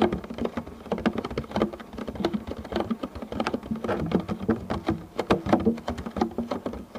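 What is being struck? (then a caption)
Thin clear plastic food container. A medium, clear, thin plastic food container, hollow and empty, is tapped quickly across its surface by the fingertips of both hands, then held with both hands. The result is a dense, rapid patter of short, dry, hollow taps with a light resonant tone in the lower mids and very little bright content. Each tap dies away almost instantly.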